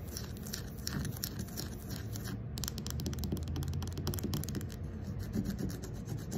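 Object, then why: Carved wooden ball. Long acrylic nails scratch and rub the surface of a fist-sized, round carved wooden ball with inlaid light slivers and a hole, likely hollow. A steady, dense rasping texture with a heavy low body runs throughout, scattered with quick, bright, crisp ticks. It shifts to a slightly fuller, busier scratching partway through.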